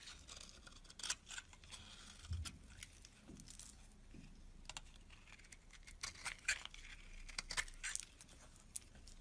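A metal blade scrapes a solid cream bar of soap held in the hand, sending flakes falling. The clip is a quiet run of dry, bright scraping and crinkling bursts, with a few sharper scratches standing out over a soft low hiss.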